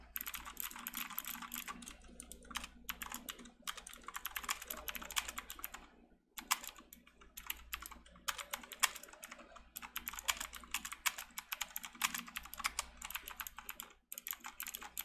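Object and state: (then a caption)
Plastic mechanical keyboard. Both hands type continuously with their fingertips on a backlit plastic mechanical keyboard with round plastic keycaps. The result is a fast, dense stream of bright, sharp key clicks that decay almost instantly, with only brief pauses around 6 and 14 seconds.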